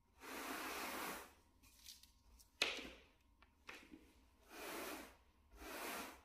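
A wooden bristle brush held in a gloved hand sweeps across a small, solid, flat grey plush shag carpet mat. Three long, bright, hissing strokes stand out clearly, with quieter scratchy rustles and one sharp tick in between.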